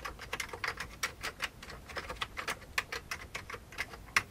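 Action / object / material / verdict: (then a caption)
tap / plastic computer keyboard / plastic / none. Fingertips of both hands type on the keycaps of a full-size old beige plastic computer keyboard with a hollow plastic case. A quick, uneven run of short, bright plastic clicks and taps rings off almost instantly, with very little low end and a few louder keystrokes standing out.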